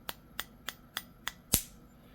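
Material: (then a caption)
Eggshell. The back of a spoon taps the rounded end of a raw chicken egg six times: five light, sharp clicks evenly spaced, then a louder, fuller crack with a longer ring. That last crack is the inner membrane breaking while the shell stays uncracked, which makes the egg easier to peel after boiling.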